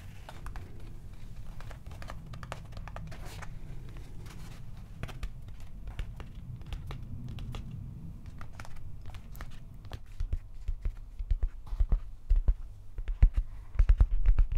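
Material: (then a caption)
Plastic. Fingertips and nails tap rapidly on the hollow-looking, silver-painted molded plastic head of a Stormbreaker replica prop axe held close. Soft, dry clicks and light crinkly taps patter quickly and unevenly over a low rumble, growing louder and sharper in the last few seconds.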